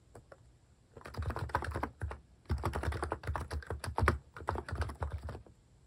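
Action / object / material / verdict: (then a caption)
tap / plastic mechanical keyboard / plastic / none. Fingertips type steadily on a plastic mechanical keyboard with cat keycaps, producing dense runs of soft, deep, thocky key clacks. A burst of typing is followed by a brief pause, then a longer stretch of rapid keystrokes over quiet background hiss.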